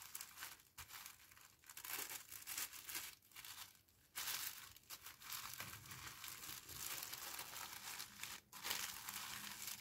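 A thin pink tissue paper parcel, empty of anything hard, is folded, squeezed and pressed flat by fingers with long painted nails. It gives a steady, bright crinkling and crushing rustle with brief quieter pauses, mostly high and airy with almost no low end.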